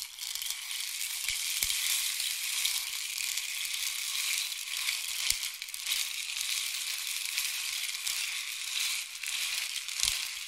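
A long, hollow, painted wooden or bamboo rain stick is tilted slowly, sending its filling trickling down inside. It makes a steady, bright, rushing patter with almost no low end, with a few slightly louder ticks standing out over about ten seconds.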